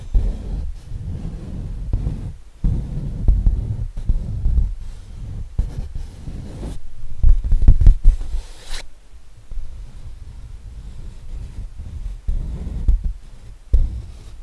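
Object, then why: Acrylic-painted stretched canvas. Fingernails scratch and tap the painted front of a colorful lion painting in acrylic on a stretched canvas that is hollow behind. The result is soft, muffled, low thumps and rustling scratches, irregularly spaced, with almost all the sound below 200 Hz and no ring after each tap.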